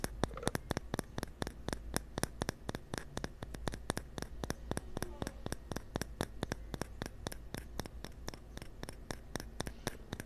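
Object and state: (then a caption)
Bamboo cup tapped. A small, hollow, cylindrical bamboo wooden cup is held in one hand close to an earphone mic and tapped repeatedly with the fingertips of the other hand. About 50 short, dry, hollow taps come in a steady, quick stream. They sound over a low, constant hum with a faint hiss between them.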